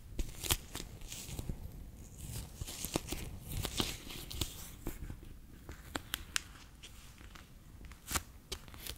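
A bear-shaped clear PVC pouch full of water beads is held in the hand, then laid flat on a table, and tapped with fingertips and long nails. Sharp, sticky clicks and taps ring out over a soft, squishy crinkle with a low thud underneath. The taps come in scattered bursts, each fading quickly.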